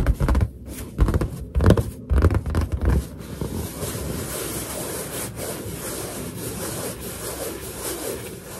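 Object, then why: Inflated latex balloon. Finger pads lightly tap and rub the surface of a large, hollow, inflated white latex balloon. The first three seconds bring a run of uneven, booming low thumps. The rest is a steady, softer rubbing hiss with faint squeaky undertones.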